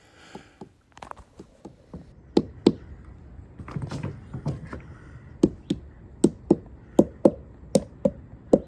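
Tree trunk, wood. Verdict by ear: Hollow.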